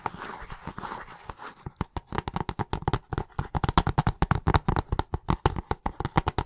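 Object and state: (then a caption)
Plastic video game case. Fingertips and nails scratch and then tap across the cover of a hollow plastic video game case, held upright and tilted. A soft, busy scratching opens the clip, then gives way to a quick run of sharp, dry taps with short, clicky decay.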